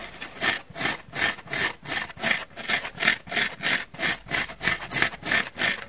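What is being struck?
Foam sponge block.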